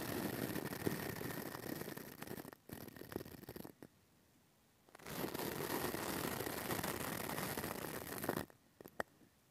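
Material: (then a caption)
Metal mesh. A pink plastic brush with white bristles scratches over the hollow metal mesh grille of a small pink mini microphone. It makes dense, crackly bristle scraping in two long bursts separated by about a second of near silence. A few short, sharp brushes follow at the end.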